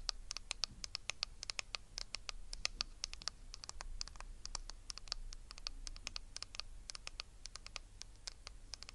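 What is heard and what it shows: Long red nails scratch and tap the hollow, glossy plastic back of a small hand-held hairbrush with bristles, held close to the microphone. Dozens of quick, dry, bright clicks and scratches fall in a fast, uneven patter over a quiet low hum. Each tap is sharp and dies away almost instantly.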